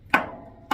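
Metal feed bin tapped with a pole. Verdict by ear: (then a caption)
Hollow. A pole strikes the empty upper section of a metal farm feed bin, a tap used to gauge the feed level, which reads at about 7,000. Two sharp, hollow metallic taps ring out, the first decaying through a bright tone near 1.5 kHz before the second lands.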